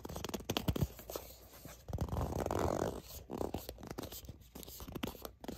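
Long nails scratch and grip the sides of a soft plastic sunscreen squeeze tube that appears filled. Quick dull taps and scratchy clicks give way to a longer, muffled crinkling squeeze near the middle. Irregular tapping and scraping then continue, mostly low and soft with little high brightness.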